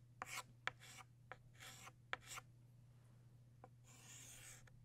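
A blue chalk stick held by the fingertips draws and scratches strokes for butterfly wings on a solid black chalkboard. Five sharp chalk taps punctuate bright, raspy scratching strokes over a steady low hum.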